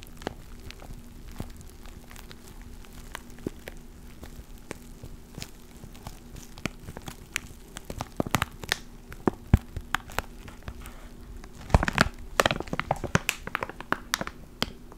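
A small clear plastic ziploc bag with a black foam mic cover inside is held near the mic and crinkled and squeezed with the fingers. Sharp, irregular crackles and clicks sound over a steady low hum, growing denser and louder around the middle and again near the end.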